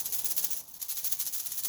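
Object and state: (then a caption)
Well-made bamboo rattle with a clear sound. A freshly finished two-layer rattle made of mixed bamboo strips, used to call rats, is shaken to test it. It gives a quick, steady run of bright, crisp rattles with almost no low end and a brief lull partway through. The clear sound shows the piece is well made.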